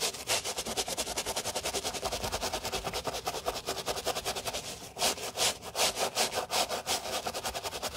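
A wooden block brush with stiff bristles scrubs the foamy mesh upper of a white mesh and leather sneaker, giving a steady run of quick, bright, hissing rubs. The back-and-forth strokes grow louder and more spaced in the last three seconds.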